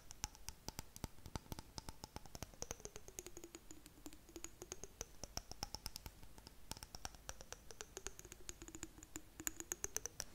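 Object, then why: Glass jar. Long nails tap and scratch the surface of a clear glass jar with blue contents. Rapid, dry, close clicks come in a steady stream, while a faint bright tone and a lower tone sweep down and back up across the clip.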